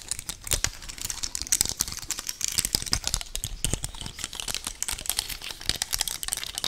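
Long painted nails quickly scratch and tap across the natural woody scales of a large, solid, dry brown pine cone held up close to the mic. The result is a rapid, dense stream of dry, crisp clicks and crinkly scratches, bright and high-pitched, with each tap dying away almost instantly.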